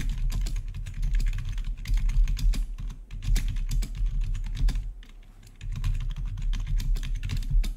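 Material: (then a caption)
Plastic. Fingertips of both hands type rapidly on a full-size black plastic membrane-style gaming keyboard with blue-to-red RGB backlit keys. A dense stream of soft, muted keystroke clicks with a heavy low thump continues throughout, easing briefly near the five-second mark before picking up again.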